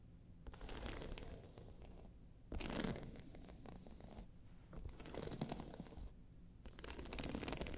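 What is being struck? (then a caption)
Croc-embossed faux leather handbag. Long pointed nails of one hand scratch the round face of a round, hollow, tan croc-embossed faux leather handbag lying on its side. Dry, rasping scratches come in several bursts with short pauses between them, carrying a hollow, low-heavy body under a softer gritty top.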